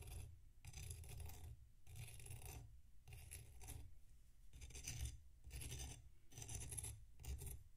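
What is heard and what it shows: A metal knife scrapes and slices through a solid packed sand block resting on a plate, making repeated gritty rasping strokes. Each stroke carries a bright, sandy hiss over a low rumbling undertone, separated by short quiet gaps.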